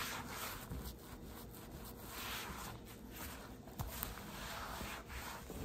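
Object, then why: Plastic storage box lid rubbed with a microfiber cloth. A gloved hand wipes and rubs a microfiber cloth across the large, flat, translucent plastic lid of a storage box lying on a table. The result is a continuous, soft, breathy rubbing and swishing with a broad, hissy texture and gentle swells. A faint high whine runs steadily through the whole clip.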